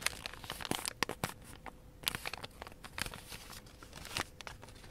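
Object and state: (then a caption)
Origami paper being creased. Thin light-blue origami paper is folded into a kite shape, both hands pressing and running fingertips and nails along the creases. Crisp, bright crinkling and creasing sounds come in quick, dry bursts over a quiet background, with no lingering ring.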